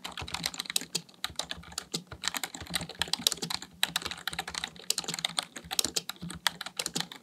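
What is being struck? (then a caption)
Plastic computer keyboard. Fingertips type steadily on a full-size black plastic computer keyboard. The result is a fast, continuous stream of short, bright, clicky keystrokes with very little low end and almost no ring after each press.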